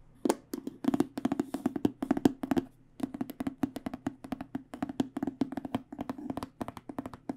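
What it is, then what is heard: Aluminum-framed hard case. Fingertips and long nails tap rapidly on a black, aluminum-edged hard microphone case, producing quick, dry, hollow knocks centered around 270 Hz with crisp, bright nail clicks. The taps come in fast irregular runs with a brief pause near the three-second mark, each dying away almost instantly.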